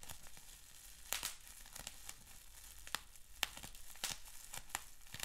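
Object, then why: Plastic bubble wrap sheet. Fingertips pinch, pop and crinkle a clear plastic bubble wrap sheet with small bubbles. Sharp, bright pops stand out at irregular moments over a steady, soft, high crinkling rustle. Each pop snaps off instantly with no ring.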